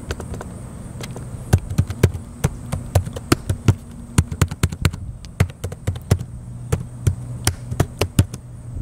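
Fingertips type continuously on the plastic keys of a small blue plastic laptop with a hollow chassis, resting on a metal picnic table outdoors. Quick, dry, hollow clicks come in an irregular stream, each ending almost at once. A steady low hum and a faint high whine run underneath.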